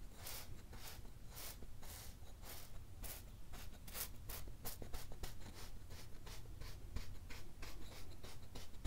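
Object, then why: Kinetic sand pressed with a wooden mallet. A wooden meat tenderizer repeatedly presses and stamps into a flat, solid layer of pink kinetic sand on a teal cloth, crushing it and leaving a waffle-grid pattern. Rapid soft, grainy crunches and dull knocks repeat steadily over a low, muffled rumble, each burst brief and bright with no ring.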